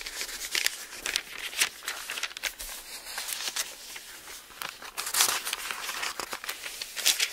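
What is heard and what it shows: An open bible with thin paper pages is held in both hands while the pages are turned with fingertips, fluttering and rustling. The sound is a steady stream of bright, high, crisp crinkles and soft swishes with no low end, with louder flicks standing out as pages flip over.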